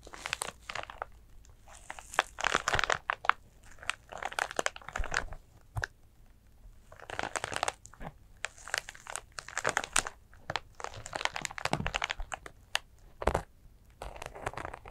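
Long acrylic nails scratch and tap a small, flat, soft glitter sequin fabric zipper cosmetic pouch that appears empty. Bursts of dry, crinkly scratching and quick ticking taps come in clusters separated by brief quiet gaps, with a bright rustling edge throughout.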